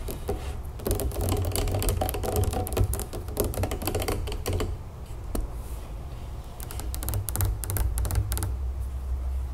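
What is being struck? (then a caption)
Large plastic lemonade jug. Long nails rapidly tap and scratch the ribbed plastic body and label of a large, full plastic lemonade jug standing on a table. Quick, uneven bursts of bright clicking ride over a dull, low body resonance. The tapping thins out briefly around the middle, with one sharp isolated tap, before picking back up in fast clusters.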